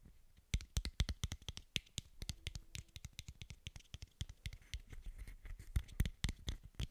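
A small, hollow, translucent white plastic bottle cap, held up in both hands near the microphone, is tapped and scratched with fingertips and short nails. The result is a rapid, uneven stream of dozens of short, dry clicks and taps with a low thump under each and bright, crisp edges, mixed with faint scratching between them.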